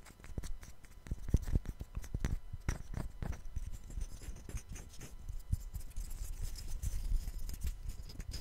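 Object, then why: Two small light-wood blocks. A pair of small solid light-wood cubes, one held in each hand close to the microphone, are rubbed and scratched against each other and with fingertips. The result is a dense run of short, dry scrapes and soft taps with a low, thumpy body and faint bright edges, each dying away almost at once.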